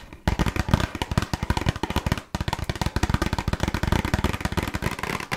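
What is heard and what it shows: Long nails tap rapidly on a small, closed, red printed cardboard box of burger cookies, hollow with its contents inside. The hits come as fast, dry, drum-like thuds with a low, hollow body and almost no ring. They play in two quick runs separated by a brief pause.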